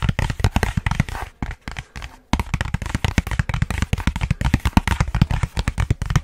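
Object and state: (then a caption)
Cardboard box tapped. A hollow, long rectangular white cardboard box is held upright and tapped fast and hard with fingertips and short nails. The rapid, dry taps make deep, hollow thumps with almost no ring. They come in a dense burst that falters into a brief pause near the two-second mark before resuming at full pace.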